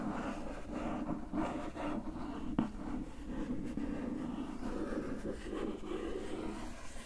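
Long nails slowly trace and scratch over the printed surface of a closed, glossy printed cardboard gift box. The result is a steady, soft, dry scraping rustle, mostly low and mid in tone with little brightness, broken by a brief sharp tick partway through.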